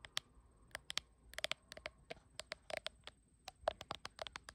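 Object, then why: Glass back of a smartphone. Long acrylic nails tap and scratch the glass back panel of a blue iPhone with no case, held in one hand. Around two dozen sharp, dry clicks come in an irregular rhythm, each bright and high with almost no ring. Soft scratching fills the gaps between them.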